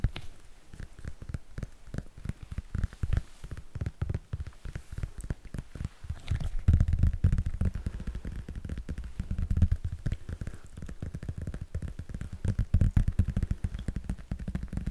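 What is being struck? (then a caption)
Thin paperback book with glossy coated cover. Fingertips tap and scratch the glossy coated paper cover of a thin paperback "Frosty the Snowman" children's picture book held close to the mic in one hand. The result is a dense, rapid stream of short, dull, bassy thumps with scratchy rustling between them, growing louder around the middle and again near the end.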